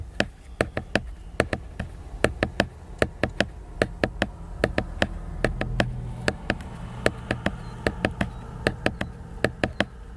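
Fingernails tap and scratch the glossy cover of a large, solid, flat laminated cardboard hardcover book. Thirty-seven short, sharp clicky taps at an uneven pace each ring out bright for only a moment. A soft, low scratching rustle runs underneath them.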